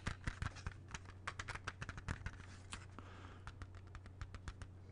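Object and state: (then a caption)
Plastic CD jewel case. Fingertips tap the front of a closed plastic CD jewel case held in both hands, making a quick, irregular run of light, dry clicks. The taps are short and crisp, with a brief soft scratchy brushing partway through, over a steady low hum.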